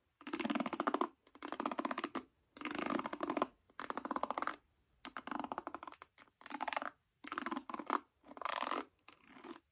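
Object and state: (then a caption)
Wooden paddle hairbrush with nylon bristles. Long painted nails scratch and flick through the dense black nylon pins of a wooden paddle hairbrush held face up. The result is a series of separate bursts of fast, bright, crackly scratching with short silent gaps between them.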